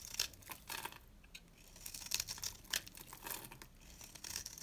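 A box-cutter blade scrapes and carves a dry, yellow, rounded-rectangle bar of solid soap held in the hand. Quiet, bright, crackly scraping strokes come in a series of short bursts, with almost no low end and each shaving dying away quickly.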